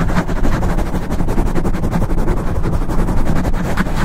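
Fingertips and nails scratch fast and hard across the top and sides of a black foam microphone windscreen. The result is a dense, continuous run of rapid rubbing strokes, dominated by a heavy low rumble with faint brighter scratchy edges.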